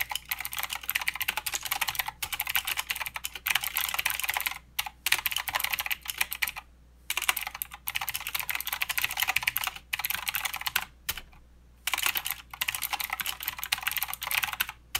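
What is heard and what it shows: Fingertip typing with both hands on a mechanical keyboard with plastic keycaps and clicky blue switches produces rapid, bright clicking in bursts. Short pauses break the typing throughout, and each keystroke is crisp and dies away almost instantly.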